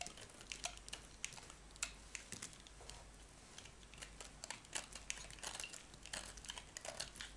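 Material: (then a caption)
Soap. A metal knife blade shaves a solid black and white striped bar of soap into flakes, and the bar shrinks as it is cut. A rapid, uneven series of short, crisp, bright scraping clicks and crackles plays over a faint steady low hum.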